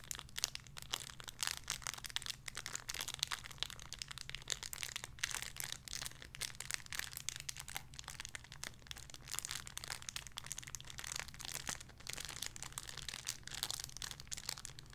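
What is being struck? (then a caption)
Thin plastic bag holding a soft squishy toy. A small, clear, crinkly plastic bag holding a soft pink squishy toy is crinkled and squeezed between fingertips with long red nails. Dense, bright crinkling and crackling runs steadily through the whole clip over a faint, steady low hum.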